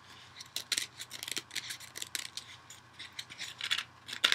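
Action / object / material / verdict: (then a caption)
scrape / foam kitchen sponge / foam / none. A dual-layer kitchen sponge of yellow foam with a green scouring pad backing is held in one hand and scratched on its yellow foam side with fingernails. A rapid, uneven series of short, bright, dry scratching bursts is heard, each stopping almost instantly, with nothing in the low end.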